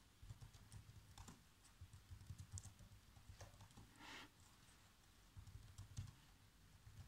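Bare fingertips with short nails rapidly tap the black plastic, low-profile keys of a laptop keyboard on a hollow chassis. The result is quiet, dull clicking and thudding with short, bright clicks and a brief soft swish near the middle.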